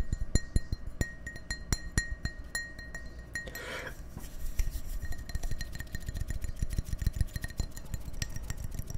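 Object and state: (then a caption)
Glass tumbler tapped with fingers and nails. Fingers and nails tap the sides of an empty, hollow clear drinking glass tumbler held between microphones, giving many sharp, quickly fading clinks with a bright ring near 2 kHz and higher overtones. Midway through comes a brief softer rustling swirl before the tapping resumes at a quicker, denser pace over a low hum.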